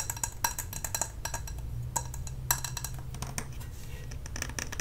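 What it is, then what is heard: Glass candle jar with metal lid. A medium glass jar candle filled with white wax, with a metal lid and a paper label, is held in both hands and tapped with long nails on the glass and the lid. The rapid, irregular taps make short, bright clinks and clicks around 945 Hz that die away almost instantly, over a steady low hum.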